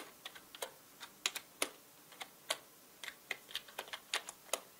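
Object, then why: Plastic mechanical keyboard. Fingertips tap and type on the plastic keycaps of a full-size black mechanical keyboard, producing sharp, bright clicks at an uneven pace. About sixteen distinct keystrokes are heard over nearly five seconds, each dying away almost instantly with no low rumble.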